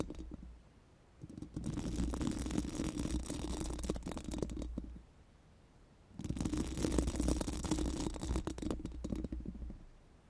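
Pink silicone brush wands are rubbed and scratched over a round, hollow metal mesh microphone grille. It comes in two sustained bursts of dense, rustling scratching over a deep, boomy low rumble, separated by a short quiet gap. The bright bristly texture rides on top of the heavy low-end thrum.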